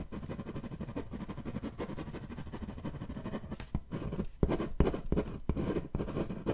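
Fingertips and nails scratch and tap the surface of a flat, hollow, thin-walled brown corrugated cardboard box or panel held upright in one hand close to the microphone. A steady, soft, papery scratching fills the first half, then sharper, dull, low-heavy taps stand out over continued scratching and die away almost at once.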